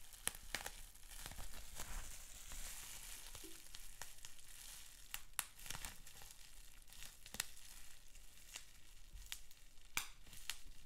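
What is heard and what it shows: Fingertips scratch, pinch and pop a sheet of clear plastic bubble wrap with small bubbles. A soft, bright crinkling and scratching hiss runs throughout, broken by scattered sharp, dry pops that snap and stop almost instantly.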